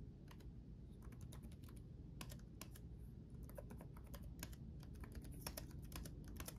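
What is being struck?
Plastic laptop keyboard.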